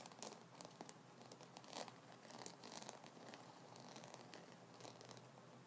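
Fingertips and nails scratch and tap the wooden nubs on top of a solid wooden massage brush, held horizontally with its handle out and white bristles below. It makes a quiet, dry crinkling scratch broken by many sharp, brief clicks.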